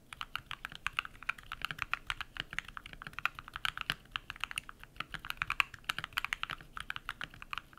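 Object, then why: Mechanical keyboard with plastic keycaps. Bare fingertips type rapidly on a compact modded mechanical keyboard with white PBT plastic keycaps and lubed switches. There are around fifty-five short, crisp clacks, bright and centered in the upper midrange, with little low end. Each keystroke stops dead with no ring.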